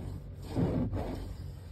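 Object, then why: Woven mesh car seat fabric over foam. Fingernails scratch and rub grey woven mesh car seat fabric stretched over foam padding. The result is a soft, muffled, low-pitched rubbing with almost no bright content, swelling slightly louder in the middle of the clip before fading back to a quiet scrape.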